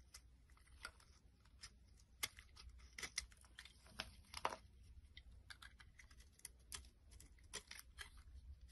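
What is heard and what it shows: A solid purple oval bar of soap held in the palm has its surface scraped and shaved with a metal blade. Quiet, crisp, bright scraping strokes come in a steady series of short bursts over a faint low hum.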